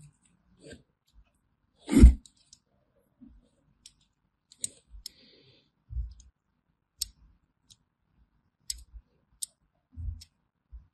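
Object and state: Bar of soap being scored.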